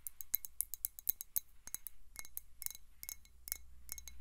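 Long nails tap rapidly on a clear glass VOSS-style water bottle with a white cap, partly filled with water and held tilted. The result is a quick, uneven series of short, bright clicks and clinks that die away almost instantly over a steady, quiet low hum.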